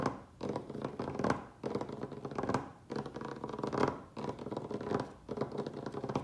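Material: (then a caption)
Wood. Fingertips and nails of both hands rapidly scratch and tap the surface of a large, solid, rustic wooden tabletop. Dense bursts of dry scratching and quick taps come in several clusters separated by brief pauses. The sound is mostly mid-range with little deep or bright content.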